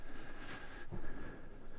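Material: Nothing is struck.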